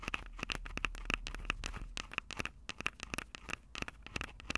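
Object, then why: Small metal microphone capsules on a plastic recorder. Long purple nails on both hands scratch and tap the small metal X/Y microphone capsules on top of a plastic Tascam DR-05 recorder, the very mic doing the recording. A rapid, uneven string of sharp, dry clicks with a bright ring near 2.6 kHz rides over scratchy crackle and a low, close-up rumble, each tap dying away almost instantly.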